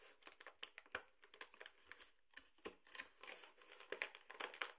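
A tall, partly full paper sugar bag is gripped and crinkled by hand at the top and along the side. It makes a quiet, continuous run of crisp, bright crackles and rustles, with sharp little snaps rising out of it and almost no low end.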